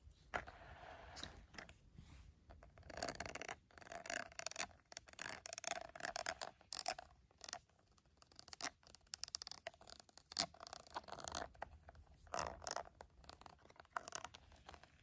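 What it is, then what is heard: Silicone glove. Fingertips and nails rub and tap the smooth dotted side of a green silicone glove. The result is a quiet, irregular run of soft scratchy scrapes and quick dry taps, bright and crisp with very little low end. The taps die away almost instantly.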